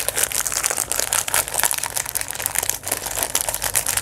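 A thin, shiny, hand-sized chocolate bar wrapper of metallic foil or metallized plastic with a brown and silver pattern is held and squeezed in both hands, then crinkled and rubbed with the fingertips. The result is a steady stream of dense, bright crackling and crinkling with many short sharp bursts and almost no low end.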